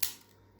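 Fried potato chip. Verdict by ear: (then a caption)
Crispy. A homemade fried potato chip taken from a serving bowl is snapped in two, giving a single sharp, bright crack dominated by high frequencies that fades within a fraction of a second. The chip is crispy and breaks off just like a normal chip should.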